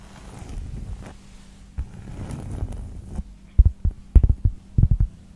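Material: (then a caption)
Cork. Long pointed nails scratch and tap on the top surface of a larger round cork board, a solid, thin pad held flat. Soft, low, muffled scratching rustles for the first few seconds, then gives way to a loose run of dull, thudding taps with no ring.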